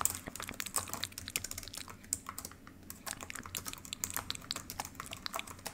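Long pink acrylic nails and fingertips type rapidly on the solid built-in keys of a black plastic ThinkPad laptop keyboard. The result is a quick, uneven stream of sharp, bright plastic clicks and taps that pauses briefly in the middle, over a faint low hum.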